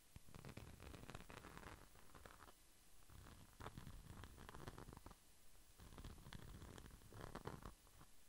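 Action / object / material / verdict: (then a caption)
scrape / small flat glitter-coated pouch / glitter plastic / none. A small, flat red pouch with a glitter-coated surface is held beside the microphone and rubbed and scratched with the fingertips. It makes a dense, low, rumbling scratch with crackly, gritty bursts that swell and fade in waves over about eight seconds.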